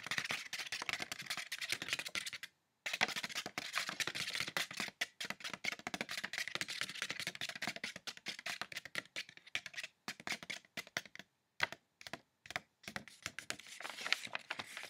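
Fingertips and nails rapidly tap and scratch on folded white wrapping tissue paper held on the lap, making a dense, typing-like crinkle. The sound is bright and dry, with many quick clicks and rustles that stop briefly near 2.5 seconds and break into short bursts with gaps toward the end.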